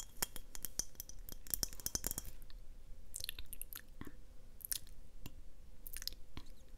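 A glass mason jar is tapped in a quick, uneven series of light taps, giving dry clinks with bright, glassy high-end sparkle over a soft low rumble. The taps are dense in the first two seconds, then come more sparsely with brief pauses, each dying away almost at once.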